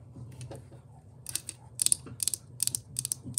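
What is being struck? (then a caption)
Small plastic figure base. Long pink acrylic nails tap and scratch across the top and edges of a small, square, green pixel-patterned plastic Minecraft figure stand base, its pole attached, resting on a white table. Quick, bright, dry clicks come in uneven bursts with faint scratching between them, over a low steady hum.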